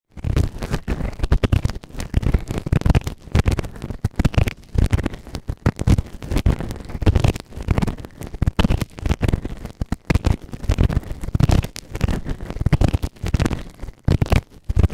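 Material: Silicone.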